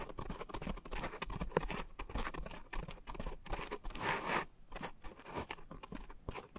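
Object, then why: Coarse foam sponge. Long nails scratch and tap a pink coarse foam scrub sponge with a white foam layer wrapped around microphone capsules. The result is a close, dense stream of dry crunching and crinkling rustles with quick soft taps, heavy in the low end, and a few brighter scraping bursts near the middle.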